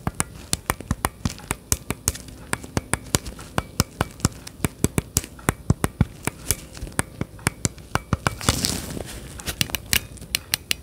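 Gloved fingertips tap and click the surface and buttons of hollow plastic Nintendo Switch Joy-Con controllers attached to a handheld-size grip, held behind the microphone. About fifty short, dry, bright clicks come in a steady, uneven stream, each dying away almost at once. Near the end, a brief rustling scrape of glove on plastic joins in.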